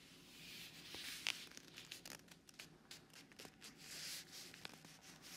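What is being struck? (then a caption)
Leather glove on silicone ear. A black fingerless leather driving glove with holes rubs, presses and scratches against the white silicone ear of a binaural microphone, held close up. Soft, bright, crackly friction swells and fades in waves, broken by sharp scratchy ticks and a few louder crisp snaps, with almost no low end.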